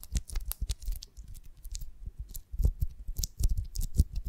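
A pear-shaped beeswax honeycomb on a wooden stick is cupped in both hands while long nails tap and scratch its waxy cell surface. The result is a quick, irregular run of soft, dull thumps layered with crisp, bright scratchy clicks that stop almost instantly.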